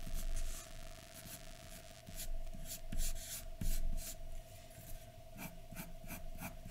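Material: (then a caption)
Paper. A graphite pencil scratches hatching strokes for the hair across a large, flat white sheet of drawing paper lying on a dark surface. The sound is a series of quiet, irregular, dry scratching strokes with bright, airy edges over a faint steady hum.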